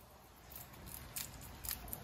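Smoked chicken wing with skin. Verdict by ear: Crisp.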